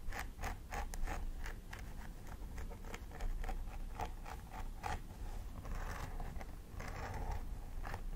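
A thin wooden stick scratches along the scalp line of a plastic doll head with synthetic hair while the nails of the other hand press into the hair. Quick, crisp scratching strokes repeat in a steady run, with a few denser, rougher rasps toward the end, all over a low, steady rumble.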